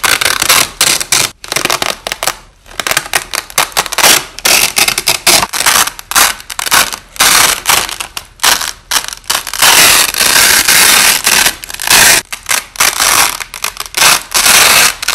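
Wide, thin, flexible white nylon hook-and-loop (Velcro) strips are pulled apart by hand and pressed back together, with the audio slowed down. Bursts of harsh, bright crackling ripping come in rapid, uneven clusters separated by short pauses, with almost no low end.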